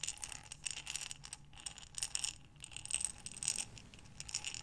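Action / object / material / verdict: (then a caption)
shake / glass jar with small buttons inside / glass / none. A clear glass mason-type jar with a metal lid, lying sideways and partly filled with many small buttons, is held in both hands with long dark-painted nails and tilted and rotated. The buttons shift and rattle inside in repeated waves of bright, clicking clatter against the glass, with very short ring and little low end.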